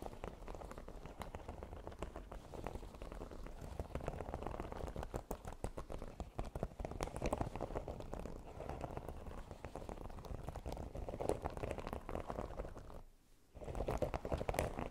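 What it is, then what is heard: Silicone pyramid mat. Long nails tap and scratch across the spikes of a red silicone baking mat with a pyramid texture. The result is a dense, steady patter of soft, muffled clicks and rubbing, weighted toward the low and middle range with little brightness. The sound stops briefly near the 13-second mark, then resumes.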